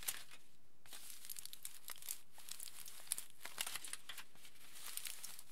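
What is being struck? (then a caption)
Thin aluminium foil sheet. Both hands rub and crinkle a large, thin, crumpled aluminium foil sheet with their fingertips. The result is a steady stream of quiet, bright, crackly crinkling with sharp little snaps, pausing briefly near the start before continuing throughout.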